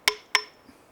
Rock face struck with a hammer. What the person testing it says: I'll tap and listen for any Hollow sounds so if you can hear that that's that's pretty solid rock that's not moving